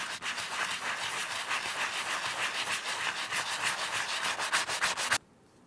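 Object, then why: Leather wallet scrubbed with a bristle brush. A wooden-handled horsehair brush scrubs a small, flat, embossed Gucci leather bifold wallet covered in soap lather. Quick back-and-forth strokes make a steady, bright, hissing rub for about five seconds, then the scrubbing stops abruptly and only faint background remains.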